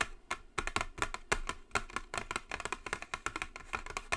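Long blue acrylic nail tips tap quickly on a flat white cardboard gift box with a gold logo lying on a table. The result is a rapid stream of about two dozen short, dry clicks with bright tops and very little ring.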